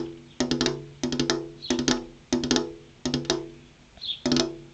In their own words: Tapping on a glass window (ASMR)